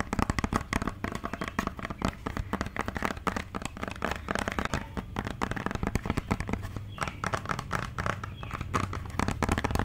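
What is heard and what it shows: A white plastic cosmetic bottle with a green cap is held in the hand and tapped and scratched with long dark nails. Rapid, dry clicks and scratchy crackles run nonstop, each tap short with no ring, over a soft low thump from the hollow bottle.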